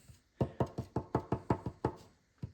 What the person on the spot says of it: Metal by the sound of things